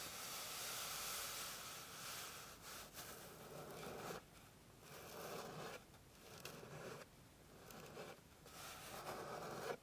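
Long pink nails scratch and rub across a flat, light, solid wooden board. The result is a steady, bright, rasping scrape with a low hum underneath. It is broken by a few brief pauses as the strokes stop and start again.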